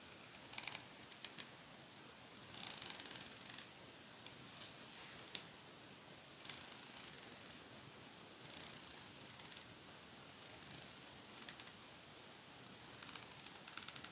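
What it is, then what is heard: Metal pet comb teeth scraped. Long fake nails scratch along the row of thin metal teeth on a small pet comb with a teal plastic handle. The result is repeated bursts of bright, crisp, high-pitched scraping and rattling, separated by quiet pauses over a low background hiss.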